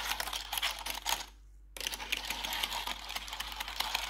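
Long pointed metal nail claws worn over blue gloves tap quickly across the keys of a black plastic RGB backlit computer keyboard, making dense, bright, clicky ticks. The tapping stops for a brief near-silent pause around the middle, then resumes in a steady, rattling stream.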